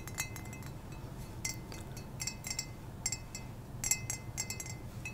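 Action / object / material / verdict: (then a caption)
tap / small ceramic mug / ceramic / none. A small, hollow ceramic mug, cream with red speckles and a black cow-print patch and apparently empty, is held in the hand and tapped with painted fingernails close to the microphone. The result is a quick series of bright, glassy clinks that die away almost at once, over a low, steady background hum.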